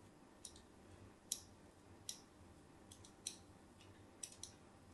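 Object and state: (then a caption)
Bar of soap being scored with a blade. A thin metal blade scores crosshatch lines into the surface of a solid, palm-sized cream bar of soap, leaving a grid pattern. About eight short, bright scratching and cutting clicks come at irregular intervals over a faint, steady background hiss.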